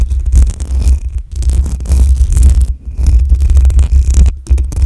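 Long acrylic nails scratch the top and sides of the hollow metal mesh grille on a black USB microphone. The result is a heavy, muffled low rumble layered with bright, scratchy hiss, coming in uneven bursts with brief near-silent pauses between strokes.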